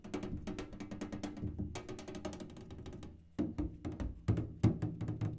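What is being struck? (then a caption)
Metal kerosene can. A kerosene can is tapped in a quick, uneven stream of dull, hollow knocks with a low, boomy body and very little ring. The taps fade slightly, then turn sharply louder and heavier for the last couple of seconds.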